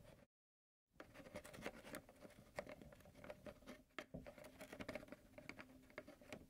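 A large, seemingly full white plastic milk jug with a yellow cap is held in the hand and tapped and scratched with fingertips and nails around the cap area. Quiet, rapid patters of hollow taps and dry scratches run throughout over a faint steady tone near 580 Hz, after a brief silent gap near the start.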